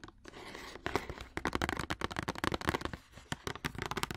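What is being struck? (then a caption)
Cardboard box. A long, hollow, rectangular printed cardboard wax paper box is held upright in a hand and tapped and scratched along its faces with long orange acrylic nails. After a brief soft scratching stretch, a run of fast, dry, crisp taps with short hollow knocks follows, and each tap dies away almost at once.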